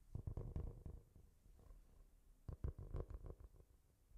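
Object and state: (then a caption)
Cork-covered notebook. A solid, brown speckled cork-covered notebook or board, about A5 size, is held in both hands close to the mic while fingertips and nails tap and scratch its surface. Two bursts of quick, soft taps sound low and thuddy, almost purr-like, with quieter scratching between them. An echo effect is applied to the sound.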